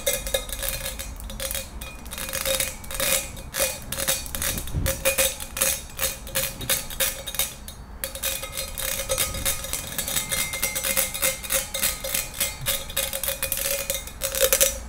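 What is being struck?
Metal wire pencil holder.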